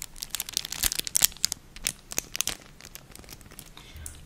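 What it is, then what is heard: Crinkling plastic packaging bag. A small, thin, empty clear plastic packaging bag with crinkled silvery film inside is squeezed, crinkled and scratched with long nails and fingertips. Dense, bright crackles and sharp crinkling snaps come in quick bursts, with many short hits clustered in the first two and a half seconds. The sound then thins to softer rustling.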